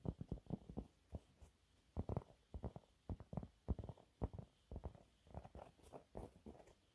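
Fingernails scratch a thin, flat, yellow textured cellulose sponge cloth in a rapid series of short, soft scratching strokes. The strokes come in quick uneven bursts with brief pauses, and each one sounds dull and muffled, weighted toward low tones, with a faint bright hiss and almost no ring.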